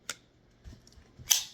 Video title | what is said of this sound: Blade Lust: Episode 4 — Cold Steel 4-Max Scout: The Big Dog of EDC Folders 🔥 @SurvivalReviews #viral | And you can hear that solid lockup that happens when I flick the knife out.